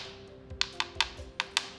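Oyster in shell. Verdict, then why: Hollow. A gaping-open oyster in its shell is tapped five times, giving short, bright, hollow-sounding clicks with almost no ring. The hollow sound marks it as bad, so it is discarded to compost.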